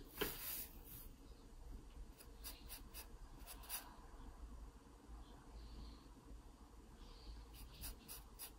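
A wooden pencil tip scratches repeated strokes across an open paper sketchbook page near the stem of a pear drawing. Short, quiet, bright scratching bursts come in clusters over a steady low hum.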